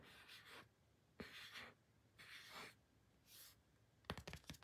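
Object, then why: Thin printed cardboard card. Fingertips and short nails rub and scratch the surface of a small, thin, solid, flat pink printed cardboard photo card held in the hand. Four soft, breathy swishes of rubbing are followed by a quick cluster of sharp, dry scratches and taps at the end, all bright and quiet with almost no ring.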